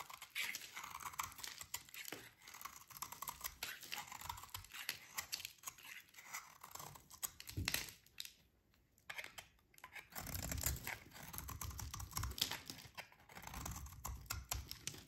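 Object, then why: Bar of soap scraped with a blade. A metal utility blade scrapes and shaves a solid, dry, orange rectangular soap bar held in the hands, cutting it into shavings. Dense, bright, crisp scraping and crunching runs continuously, stopping briefly near the middle. It then resumes with a fuller, lower rasp.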